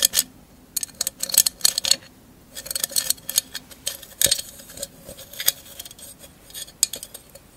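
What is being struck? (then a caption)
Glass mosaic candle holder. A tall, hollow, empty candle holder covered in mirrored glass mosaic tiles is held in the hand and tapped and scratched with long acrylic nails. Short, bright clicks and ticks come in quick bursts, mixed with faint scratching between them. Each tap dies away almost at once, with nearly no low end.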